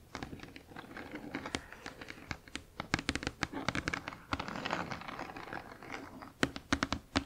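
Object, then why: Cardboard box. Long acrylic nails tap and scratch across the back of a large, flat, printed cardboard Spirograph box holding plastic drawing pieces. Quick, dry taps with very short decay are mixed with rough scratching, some clicks bright and sharp.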